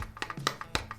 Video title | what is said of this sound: Nettoyage du bloc moteur et démontage des accessoires ! - Conversion Dodge Ram50 #EP3 | ça sonne super creux il y a rien dedans